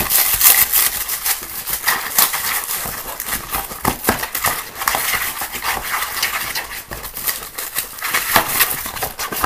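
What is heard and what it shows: Fingertips and nails scratch fast and hard inside and along the walls of a small, empty, hollow green plastic box or bowl resting on a table. The result is a continuous, dense, bright scraping and crackling with almost no low end, rising and falling in loudness throughout.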